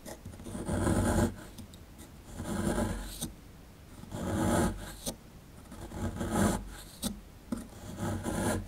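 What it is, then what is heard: Plaster dig block being scraped. A dark plastic chisel scrapes the crumbly lower right of a solid plaster excavation block held in the hand. Slow, rasping strokes swell and fade in waves, broken by a few short, sharp scratches, with a dry, gritty texture and low body.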